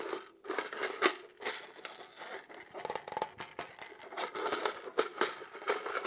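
Fingertips and nails continuously scratch and tap the textured surface of a hand-sized, hollow black polymer pistol magazine held up close. The result is a steady run of dry, short taps and scratchy rasps with a hollow midrange tone and almost no low end.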